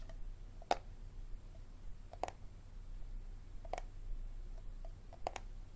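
Fingertips and nails tap and scratch the ridged bottom and sides of a clear, hollow hard-plastic water bottle held in both hands above a wooden table, turning it over by the end. Sharp, short plastic clicks ring out about every second and a half over a quiet, steady low hum, with faint scratchy ticks between them.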